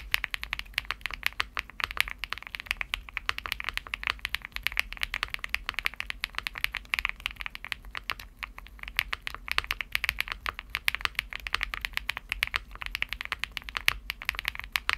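A Shortcut Studio Bridge75, a 75% aluminum mechanical keyboard with a cream aluminum case and dark purple PBT plastic keycaps, is typed on steadily with the fingertips for the whole clip. The keystrokes come fast and dense as short, crisp clacks centered around 2.3 kHz with bright upper detail, little low end, and almost no ring after each press.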